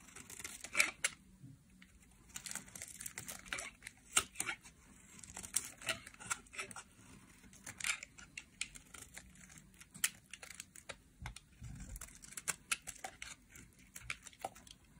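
A solid purple dry soap bar, held in a hand with long nails, is carved and scraped with a metal utility knife blade. Many short, bright, crisp scraping and crumbling sounds come in quick, irregular bursts, with a faint low hum beneath. The blade shaves and cuts into the dry soap.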